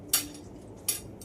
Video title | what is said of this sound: Rice, Coriander dal , Egg Omelette, cauliflower masala.. | এটাতে ঠক ঠক করে, কাচের প্লেট তো, এই আমার এটা ঝুলে গেছে